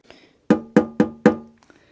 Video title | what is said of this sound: Build acrylic turntable cover - plexiglass box DIY | kind of hear that metallic ring well acrylic isn't resonant like polystyrene is